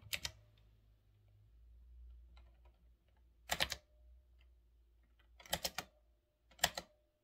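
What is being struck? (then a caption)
Mechanical keyboard with round plastic keycaps. Fingertips type on a full-size retro typewriter-style mechanical keyboard with round black plastic keycaps on a metal-look frame. Short clusters of bright, crisp clicks come in four bursts separated by pauses. Each click dies away almost instantly over a faint low background hum.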